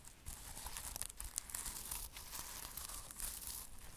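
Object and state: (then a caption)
Sequin-covered pouch. Fingernails scratch and brush across a flat rectangular pouch or cover covered in reversible black and silver sequins. The result is a steady stream of bright, crinkly, tearing-like rustles with quick scraping flicks and a faint low rumble underneath, all at a soft level.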